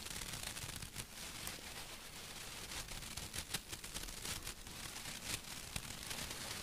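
A small stuffed cushion with a burlap-like woven fabric cover and a fox face is scratched with long acrylic nails. The result is a steady, bright, rough scratching texture, with short sharper rasps rising above it throughout.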